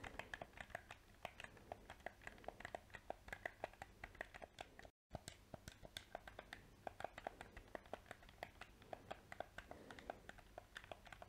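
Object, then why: Plastic game controller. A small, hollow black plastic PS4 controller has its buttons clicked and its surface tapped with painted fingernails. Dense, quick, crisp clicks and taps with a mid-range body and bright edges run continuously, broken only by a brief moment of silence near the middle.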